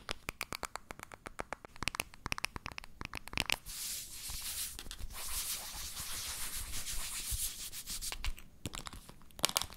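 A medium, hollow, pale pink plastic baby powder bottle with a pink cap is rubbed and scratched with fingertips and palms close to the mic. Quick, dry scratches come first, then a steady, bright rubbing hiss fills the middle, and a few sharper scratches return at the end.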